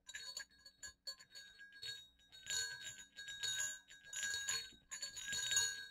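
Two small hollow silver metal jingle bells on a cord are shaken so they clink against each other. Quick, bright, high jingling comes in uneven bursts: light, separate clinks at first, then louder sustained shaking in the second half.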